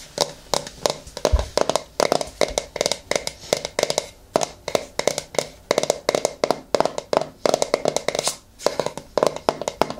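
Long fingernails tap and scratch the lid face and rim of a medium yellow plastic hair-mask jar held on its side up close. The result is a rapid, irregular series of dry, hollow plastic clicks with bright scratchy edges and a steady mid-range tone near 650 Hz. Each hit dies away almost instantly.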